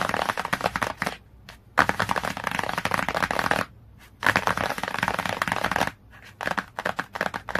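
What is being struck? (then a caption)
Glossy cardboard hardcover book cover. Fingernails tap and scratch rapidly across the glossy cover of a cardboard hardcover book. The result is a dense, crisp, bright clatter of fast taps and scratchy strokes. It comes in four bursts separated by brief quiet pauses.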